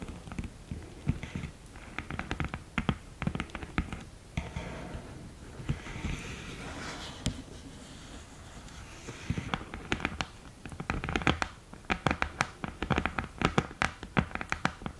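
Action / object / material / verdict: tap / cardboard eyeshadow palette with a glass mirror lid / cardboard / none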